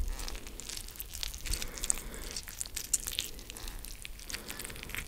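A fresh yellow lemon cut into two halves, one half held in each hand close to the microphone, is squeezed and rubbed with fingertips. The juicy halves give soft, continuous wet squishing and crackling, with bright little clicks and pops over a low rumble.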